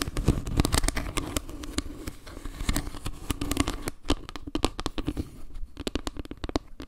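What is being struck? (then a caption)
Wooden log-slice trivet. Long painted nails tap and scratch across a round wooden log-slice trivet with carved leaves and a dark center. A rapid run of short, dry clicks and knocks sits over a scratchy, crackling rustle, with much of the sound weight low and only a little brightness at the top. The taps grow sparser and more separated toward the end.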